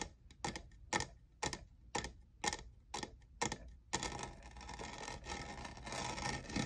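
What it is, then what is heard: Plastic studded tumbler. Fingernails tap the faceted side, near the logo, of a tall, hollow, lavender plastic jeweled tumbler that appears empty. Eight crisp, evenly spaced clicky taps with a bright tone and almost no ring are followed by a dense, continuous flurry of fast tapping and scratching.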